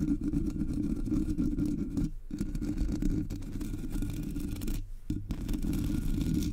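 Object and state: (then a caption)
Metal microphone grille being scratched. Long polished nails scratch and grip the hollow black metal mesh grille of a Blue Yeti microphone. They make a dense, steady, low-heavy rasping with a hollow resonance, broken by two brief pauses near the two- and five-second marks.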